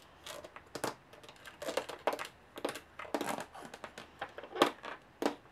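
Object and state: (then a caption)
Aluminum carry case. Long nails tap and scratch across the textured lid and edge of a closed, hollow aluminum carry case with metal latches. Quiet, irregular bursts of crisp, bright clicks and scratchy rasps come at shifting fast and slow speeds. Each burst dies away almost at once, with only a faint hollow tone.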